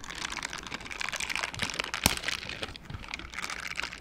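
A pair of mint-green silicone dishwashing gloves with bristle pads, worn on both hands, are rubbed palm against palm so the bristles scrub together. The result is a dense, bright crinkling and scratching texture, with one sharper crackle standing out near the middle.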